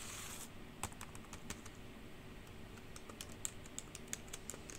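Long pink nails type fast on the hollow keys of a black plastic computer keyboard, producing quick, bright clacks and taps over a steady low background hum. A brief bright hiss opens the clip before the keystrokes settle into an uneven, rapid patter with a few sharper clacks toward the end.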